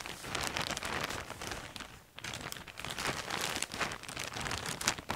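Hands crinkle, press and rub a large, clear, thin plastic bag full of coloured fabric lanyards on a table. The result is a dense, bright crackling crinkle with little low end, continuing throughout with a brief quieter dip near the middle.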